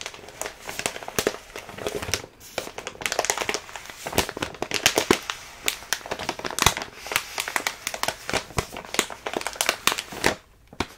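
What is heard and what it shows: A full plastic bag of rolled oats is squeezed, tapped and crinkled by hands while the oats shift inside. The result is a dense, bright stream of sharp crackles and rustles with almost no low end, broken by brief pauses near 2 and 10.5 seconds.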